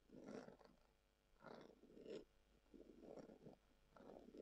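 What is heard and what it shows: Long acrylic nails scratch a hollow, hand-length, brown textured leather-covered tubular glasses case held upright on a table. The result is a series of quiet, rasping scratch strokes with a rough, hollow mid-range tone and faint brighter hiss, separated by brief pauses.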